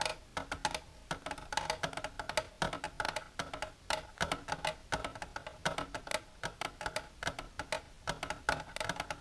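Long silver nails tap the inner walls of an empty, clear, shallow plastic tray with a divider, lying flat. The result is a rapid, irregular stream of dry, hollow clicks with a woody tone around 625 Hz, bright edges, and almost no ring.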